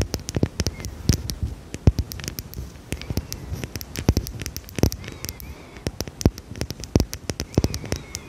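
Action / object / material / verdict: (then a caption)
tap / small glass perfume bottle / glass / none. A small, dark, square glass perfume bottle with a cap, held in a hand, is tapped and scratched with long red nails. Quick, irregular clicky taps with very short ring come through over a soft, low scratching rustle. The result is a steady patter of crisp nail-on-glass ticks.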